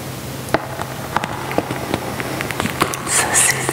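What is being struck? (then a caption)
Plastic pouch filled with dried lavender buds. A medium resealable printed Anthony's French lavender pouch, plastic or plastic-lined and full of dried lavender buds, is held in one hand and crinkled by ringed fingertips. About ten short, bright crackling snaps rise over a soft, steady rustle of shifting buds. The clip ends with a longer, brighter crinkling swell.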